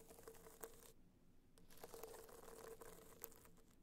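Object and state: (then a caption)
Hard-shell box clutch scratched with nails. Long nails scratch a small, rigid, hollow gold hard-shell box clutch, held upright, whose gold metallic covering has raised dots. The result is a dry, crinkly scratching with bright crackles and a faint steady tone underneath. A quieter pause comes about a second in before the scratching resumes more densely.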